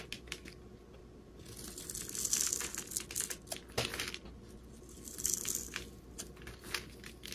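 A hand-sized, solid rectangular bar of green soap is held in the hand and scraped and carved with a metal utility-knife blade, shaving off crumbly flakes. Bright, crisp crinkling and scraping swell up twice, broken by sharp ticks and a louder crack near the middle. A soft low hiss runs underneath throughout.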